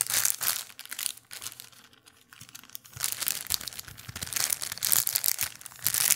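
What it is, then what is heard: Small plastic bag. An empty small clear plastic bag is crinkled and rubbed with fingertips in front of a microphone. Bright, crisp crinkling comes in bursts, fading to a quieter rustle in the middle before building back into denser, louder crackling toward the end.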